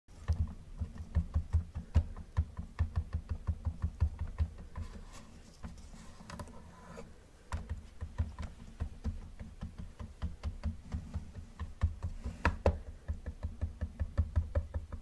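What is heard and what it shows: Gloved fingertips tap rapidly on the hood and roof of a hollow yellow plastic Camaro model car with black stripes resting on a wooden table. The taps are dull and low-heavy with almost no ring, easing off into a quieter stretch midway before resuming.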